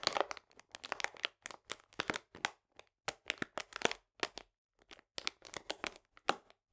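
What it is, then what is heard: Paper sugar bag. A 500 g paper bag full of cane sugar, held upright, is squeezed and crinkled with fingertips and nails. The result is a quick series of dry, bright crackling and crunching bursts separated by brief silences, with almost no low end and no ringing after each squeeze.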